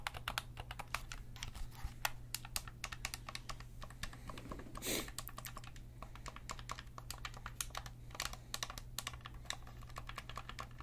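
Fingertips click and tap the shoulder buttons and face buttons of a hollow, black plastic Sony DualSense gamepad. The result is a rapid, uneven stream of sharp, bright plastic clicks with almost no ring, over a steady low hum. A short, soft rushing swish rises briefly midway through.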